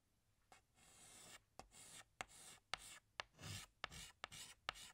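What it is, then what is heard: Chalk drawing on a chalkboard. A hand scratches a green chalk stick across a large, flat black chalkboard while drawing leaves. Short, bright, scraping strokes alternate with sharp taps as the chalk meets the board. The result is a dry, gritty scratching with brief pauses between strokes.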